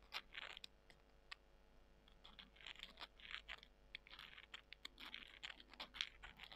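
Long nails scratch and crunch small, dry, porous soy chunks. Soft, bright, crackly scraping comes in short bursts, broken by sharp crisp clicks, all at a quiet level.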